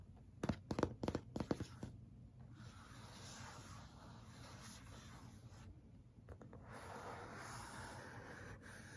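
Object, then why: Printed cardboard box. Fingertips and nails tap and scratch the printed side of a tall, closed, black printed cardboard Yeti microphone box held upright. About ten quick, sharp taps come in the first two seconds, then a soft, steady scratching rasp continues to the end.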